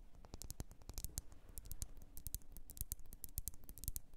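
Long nails rapidly tap and scratch a lit, wax-filled red glass candle jar. The result is a dense run of quick, sharp clicks with bright high edges over soft low thumps, each dying away almost instantly, with faint scraping between the taps.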